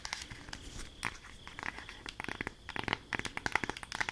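Long acrylic nails tap and scratch a flat rectangular cardboard eyeshadow palette held in both hands. The result is a quiet, dry run of crisp clicks and crinkly scrapes, bright and close, with a faint steady high tone underneath.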